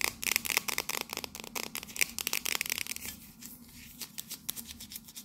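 Long nails tap and scratch a tall, hollow, cylindrical metal "King's Blend" coffee tin with a red scale pattern, held upright. Rapid, bright, crisp clicks with no ring fill the first three seconds, then give way to a softer scratching hiss broken by sparser sharp taps.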